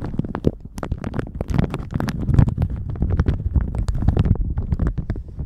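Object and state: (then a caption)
Plastic shower cap crinkled. A thin plastic shower cap stretched over a microphone is squeezed and crinkled with the fingertips. The result is a close, dense run of deep, muffled rumbling crackles, with brief sharp crinkle snaps.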